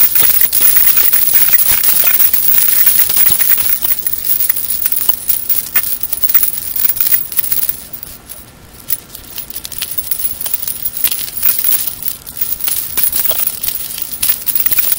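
A small solid metal hoop earring with dangling parts is held between fingertips with long red nails and gently shaken close to the microphone. It gives off a continuous bright, tinkling jingle of many quick, light metallic clinks with almost no low end. The jingling briefly quiets around the eighth second before picking up again.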